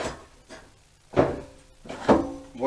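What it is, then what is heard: Steel fuel tank rattling with loose rust inside. A stripped, bare-metal steel fuel tank from a Honda CBR400 motorcycle is shaken, producing repeated rattling bursts with a short metallic ring around 330 Hz. The rattle comes from loose rust or debris inside the tank, a sign that it is not in good condition.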